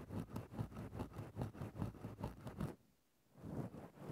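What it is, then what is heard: Fluffy fur microphone windscreen being scratched. A thin bamboo stick scratches into a grey synthetic-fur microphone windscreen, making a steady run of close, muffled, low-heavy scraping and rustling strokes. The strokes stop for a brief near-silent pause, then the scratching starts again.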